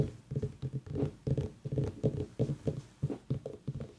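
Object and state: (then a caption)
Pumpkin tapped. A pumpkin is tapped in an irregular run of about 17 soft, dull thuds over four seconds. Each thud is low and hollow-sounding and dies away almost at once.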